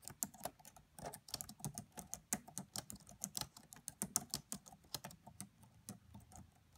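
Fingertips and long French-manicured nails of both hands type quietly on the black plastic chiclet keys of a red laptop with a hollow body. A steady, uneven run of quick, bright plastic clicks is heard, each tap with a soft low thud and almost no ring.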